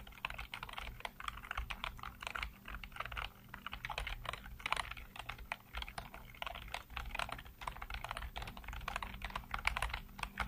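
Fingertips rapidly tap and type on a full-size black plastic computer keyboard with hollow keycaps, producing a steady stream of quick, dry clicks and clacks with a low thumping undertone. The keystrokes come in fast, uneven bursts with very short, non-ringing attacks and brighter clicky highs throughout.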